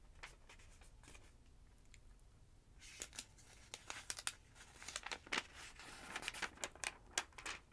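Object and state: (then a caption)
Paper phonebook pages being turned. Fingertips with long nails lift the thin pages of a large, thick yellow paper phonebook lying open on a wooden table and turn them. A faint, soft rustle gives way after about three seconds to a run of crisp, bright paper flicks and crinkles, each quick and dry with no ring.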